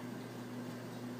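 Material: Nothing is struck.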